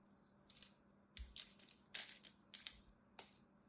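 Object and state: Bar soap being scraped with a blade.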